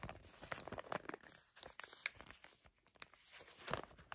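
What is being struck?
Foil and plastic face mask sachet.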